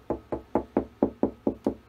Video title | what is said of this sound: BBE. S3. Duff brew sample/Kegerator build. | That sounds hollow.